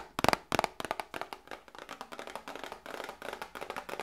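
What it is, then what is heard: Cardboard medicine box tapped with nails. A small, hollow cardboard medicine box, held in both hands, is tapped rapidly with long nails. The result is a quick, uneven run of dry, hollow clicks with a mid-pitched tone and bright edges and no ring. The first few taps are the loudest, and the rest continue at a softer, steadier level.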